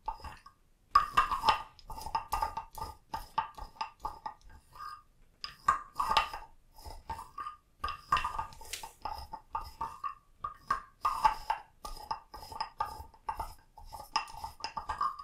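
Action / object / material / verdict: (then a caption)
scrape / carved hollow wooden frog scraped with a wooden stick / wood / none. A small hollow carved wooden frog figurine, held in a hand with long nails, has a wooden stick scraped along its ridged back to make a croaking sound. Quick ratchety rasps repeat in short bursts with brief pauses between them. The tone is dry and hollow, centered near 1.1 kHz, with little ring.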